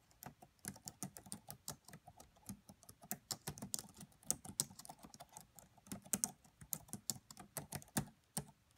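Fingertips with long nails type steadily on the black plastic keys of a red laptop, making a quiet, continuous run of sharp, bright key taps. Each click is very short and dies away almost instantly, with a soft low thump beneath the crisp high clatter.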